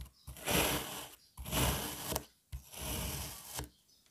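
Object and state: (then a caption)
Kinetic sand being sliced. A black serrated knife slices a single solid red kinetic sand puzzle piece into strips and chunks. Three long, gritty scraping strokes are heard, each a dense, bright rasp with a soft low thud underneath, separated by brief quiet pauses.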